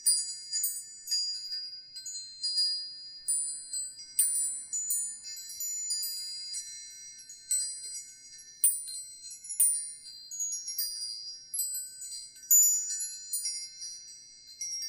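A metal wind chime with several long hollow silver tubes hanging from a dark top piece, with a round wooden or wicker wind catcher above, is held up by its hanging string and moved by hand so the tubes swing and strike each other. Bright, high ringing tones sound in repeated clusters of strikes, overlapping and shimmering as each ring fades quickly between the next clinks.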